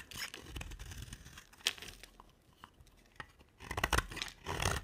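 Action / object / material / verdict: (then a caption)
scrape / soap bar cut with a knife blade / soap / none. A utility knife blade carves a solid, dry green soap bar with a black glitter coating in scraping strokes. It makes dry, crumbly scraping and crackling with bright shaving texture, a few sharp ticks, and a quieter pause before the louder strokes return.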